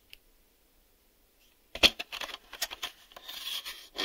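A hollow, black hard-plastic VHS video cassette is held in the hands while fingertips and nails tap and rub its front face and ribbed top edge. After a faint click and near silence, a sharp tap starts a run of quick, bright, dry taps mixed with scratchy rubbing. The sounds have almost no low end and no ringing tail.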